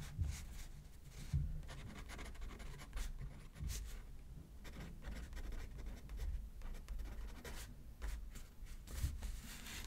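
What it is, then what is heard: Pen writing on a paper card. A pen tip scratches across a thin, flat paper greeting card resting on a spiral notepad as a left-handed writer writes, the other hand holding the card still. The result is quiet, steady scratching and rubbing strokes with soft, dull bumps in the low end and faint bright scratchy edges.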